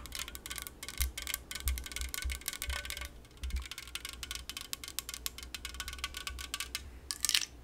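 An unopened yellow LaCroix aluminum soda can is tapped and scratched with very long nails, producing a dense run of quick, bright metallic clicks and scratchy rasps. Each tap is short with almost no ring, over a low rumbling undertone. A louder cluster of sharp, high taps comes near the end.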